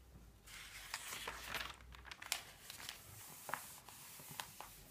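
Palms and fingertips repeatedly rub and smooth across the thin paper pages of an open, thick paper phone book. The result is a quiet, bright, dry rustling and crinkling, with short sharp crackles poking out above a steady papery hiss.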